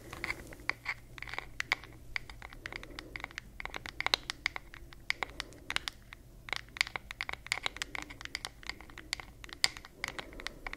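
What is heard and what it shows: Long nails tap and scratch the flat, solid wooden back of a wooden paddle hairbrush with a floral print. The result is a steady run of quick, dry, bright clicks mixed with soft scratching, with no ring after each tap.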